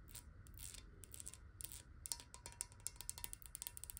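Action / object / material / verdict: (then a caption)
tap / glass water bottle / glass / none. Long nails tap quickly on the base and edges of a clear, hollow glass water bottle that is partly filled with water and held bottom-up. A rapid stream of sharp, bright clicks dies away almost at once, some taps carrying a faint high glassy ping over a low, steady rumble. The tapping is soft at first and grows into crisper, more distinct taps in the second half.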